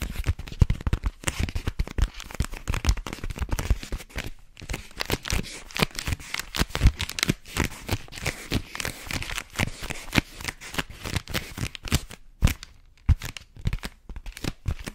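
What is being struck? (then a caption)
Rolled paper tube. Long fingernails scratch and tap along a long, hollow, rolled white paper tube. The result is a dense, rapid stream of dry, crinkly scratches and short, soft thumps with a low, hollow body and almost no ring. It pauses briefly around 4.5 and 12.5 seconds.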